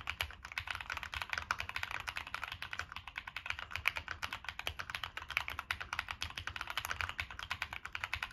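Continuous fingertip typing on a Monsgeek M1 mechanical keyboard with a black aluminum case, plastic keycaps and NK Cream switches. It produces a steady stream of short, crisp clacks, bright and centered in the upper mids, with a faint low thump under each keystroke. The clicks are quick and dry, with no ringing between presses.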